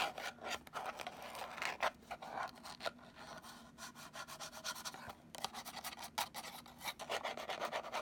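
Long nails scratch and rub across the surfaces of a small, hollow, purple rigid cardboard gift box. The result is a run of dry, rasping strokes with a bright papery hiss, each burst rising and falling with almost no ring after it.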